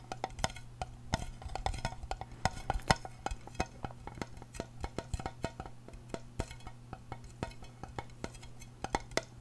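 A small, hollow, round silver aluminum tin is held in the hand and tapped on its lid and side with long painted nails. Dozens of quick, dry, clicky taps come at an irregular pace, each dying away almost instantly over a steady low hum.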